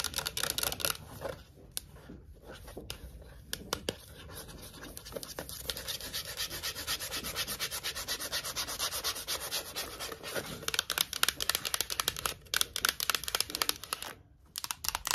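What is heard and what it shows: Long acrylic nails scratch and rub along the printed side of a Pringles can, a hollow cardboard composite tube. The sound is a dense, bright, dry scratching with many quick overlapping strokes and little low end. It quiets briefly in the middle, then returns busier and louder near the end.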